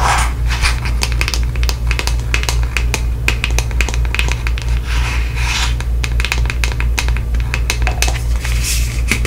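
Long nails tap and scratch a hand-sized white plastic deodorant stick container, hollow with contents inside. Quick, bright clicks and scratchy rasps come in an uneven, steady stream over a constant low hum.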